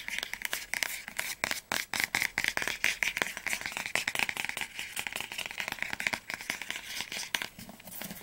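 Fingernails rapidly tap and scratch the spine and cover of an orange hardcover book as it is turned to different angles. The result is a dense stream of short, sharp, bright clicks mixed with scratchy rustling.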